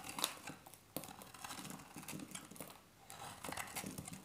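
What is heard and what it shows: A hand-sized, solid beige bar of dry soap is held in the hand and carved with a metal utility-knife blade, scraping off crumbly flakes. Quick, dry, bright crackling scrapes follow one another, with a brief quiet gap about three seconds in before the carving resumes.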